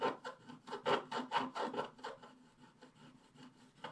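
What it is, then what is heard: Scratch-art paper scratched with a wooden stylus. A wooden stylus scratches the coating at the lower left of a flat scratch-art paper page while the other hand holds the page. Quiet, dry rasping strokes repeat at an uneven, brisk pace, centered in the midrange with a thin bright edge. They are louder at first and then grow softer and lighter before one last firmer stroke.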